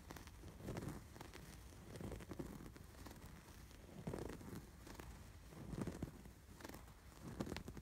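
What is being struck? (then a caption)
Canvas throw pillow with raised embroidery. Fingertips and short nails scratch over the raised embroidery stitches of a soft, stuffed cream canvas/cotton throw pillow with a red and white embroidered sweater design. The result is a quiet, low, papery scratching and rustling that swells and fades in uneven bursts.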